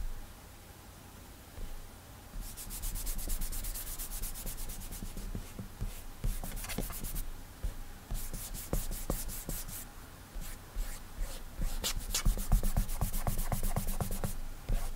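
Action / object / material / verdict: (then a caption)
scrape / glass tablet touchscreen / glass / none. Fingertips rub broad coloring strokes across an iPad's glass touchscreen resting on a desk, producing a steady series of soft, dry swishing rubs. The strokes come in quick repeated bursts with bright, hissy edges over a low, quiet background hum.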